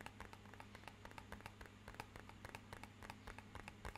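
Fingernails tap rapidly along the face of a small, rigid, hollow, matte-black rectangular cardboard box, making a quick, uneven run of short, dry, bright clicks with a slight hollow tone. A steady low hum runs underneath throughout.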